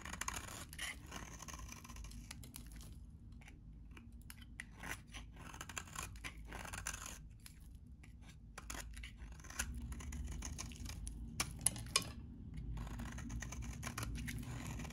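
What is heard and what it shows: A metal utility knife blade scrapes curly, crumbly shavings from a solid, dry green bar of soap held in the hand. Dense, bright, crackling scrapes and crunches repeat irregularly over a low steady rumble, growing slightly louder toward the end.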